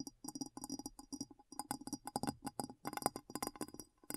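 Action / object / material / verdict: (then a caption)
tap / glass bowl / glass / none. A glass bowl is tapped lightly with rapid, uneven fingertip-style taps throughout. Each tap gives a short, quiet clink with a ringing tone near 800 Hz and bright high overtones that die away almost at once.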